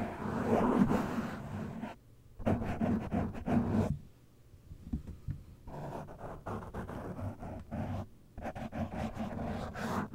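Fingertips and short nails of one hand scratch a soft, porous black foam windscreen on a microphone, producing dense, muffled scratching and rustling with a low, boomy rumble. The scratching comes in loud bursts separated by brief near-silent pauses, with a softer, lighter stretch in the middle.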